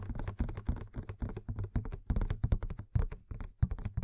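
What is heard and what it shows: A fingernail taps rapidly on the sides and plastic window of a hollow cardboard Funko Pop box with the Madame Maxime figure inside. The many dull, low-heavy clicks stop almost instantly, forming a quick irregular pattern like typing.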